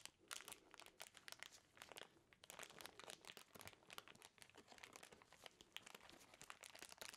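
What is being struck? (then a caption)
Thin plastic snack wrapper. Black-gloved fingers crinkle and scrunch an empty, small clear plastic snack wrapper with a blue label. The result is a quiet, continuous stream of sharp, bright crackles with almost no low end, and each crinkle dies away instantly.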